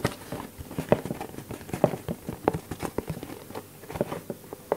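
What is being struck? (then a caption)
Small cardboard box. A small, empty, hollow white cardboard product box, open at one end, is held in one hand and tapped and scratched with the fingertips of the other hand. A quick, irregular series of soft, dry, hollow taps with a papery scratching between them; each tap stops almost at once, with a mid-range hollow tone and little high or low content.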